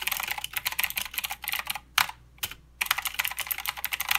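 Fingertips type continuously with both hands on a full-size mechanical keyboard with plastic keycaps, clicky blue switches and a backlight, resting on a desk mat. Rapid, bright, crisp clicks come in dense bursts, with a brief pause near the middle broken by two isolated keystrokes before the fast typing resumes.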